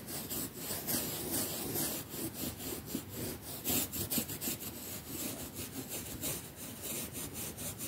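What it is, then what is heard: Quilted cotton mattress cover scrubbed with a toothbrush. A pink plastic toothbrush is scrubbed by hand across the surface of a quilted cotton mattress cover embroidered with the word "cotton." It makes a steady run of dry, scratchy, bristly strokes, about two per second and somewhat uneven, with a bright hiss over a soft, muffled rustle.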